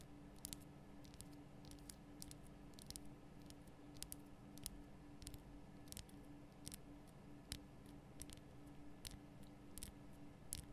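Long nails tap the top and sides of a large, lit, pink Himalayan rock-salt lamp, a solid, rough crystal block. A quiet, steady run of short, dry, bright clicks sounds over a constant low hum, with each tap dying away almost instantly.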